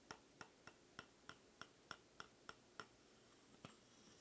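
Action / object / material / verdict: tap / bamboo sticks / bamboo / none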